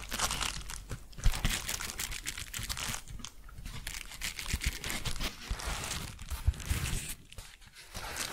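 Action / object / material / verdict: scrape / paper padded bubble envelope / paper / none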